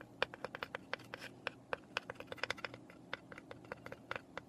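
Long nails scratch and tap on the flat side and roof panels of a small, hollow, unfinished light pine birdhouse. About 23 quick, dry clicks ring out over a soft scraping hiss. Each tap gives a brief hollow woody tone around 500 Hz with a bright edge and dies away almost instantly.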